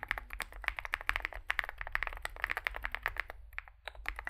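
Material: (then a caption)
Plastic, metal. A Zoom65 65% mechanical keyboard with a dark, likely aluminum case, white and grey SA-profile plastic keycaps and lubed switches sits on a desk mat while two hands type on it with their fingertips. About 29 rapid, short, crisp key taps are heard, with a bright clack centered near 1.8 kHz, over a faint low rumble.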